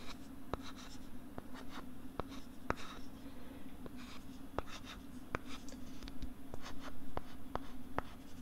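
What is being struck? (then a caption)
Plastic LCD writing tablet with stylus. A stylus writes and scratches on a pink plastic LCD writing tablet held close to the right side of the microphone. Bright, scratchy strokes are broken up by sharp, short taps at irregular intervals over a steady low hum.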